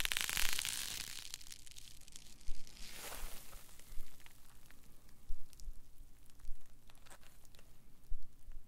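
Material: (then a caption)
Polyethylene foam. A solid green polyethylene foam block is crushed in the hands, set aside, then squeezed again. A bright, dense crackling crunch opens the clip, and a second brighter crackle follows around three seconds. Several low, dull squeeze thumps and faint creaks come at uneven intervals after that.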